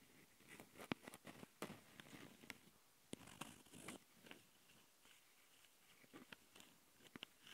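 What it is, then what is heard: Handheld recorder mic grille scratched by nails. Long painted nails scratch and tap across the metal-mesh mic capsule grilles of a small plastic Tascam handheld recorder. Quiet, close, gritty scraping is broken by a quick series of sharp, bright ticks and clicks that stop almost instantly, with a thin low rumble underneath.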